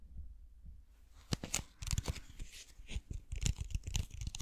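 Fingernails tap and scratch a clear plastic bottle with a white lid, full of blue water beads. After a quiet opening, irregular soft, low thuds mix with crisp, bright scratching and crinkly clicks that stop short with no ring.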